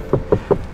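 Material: Steel.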